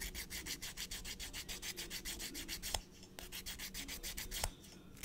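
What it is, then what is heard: Emery nail file on fingernail. A blue emery nail file is drawn back and forth across the edge of a short natural fingernail in quick, steady strokes, making a dry, bright scratchy rasp. Around thirty separate strokes are heard, with two sharper clicks and a brief lull near the end.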